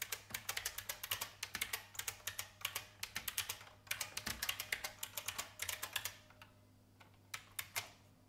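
Long painted fingernails type on an old beige IBM full-size plastic mechanical keyboard with a hollow case. The sound is a fast run of bright, sharp clicks with almost no ring, clustered in quick bursts. The typing then thins to a few scattered taps over a low, quiet background near the end.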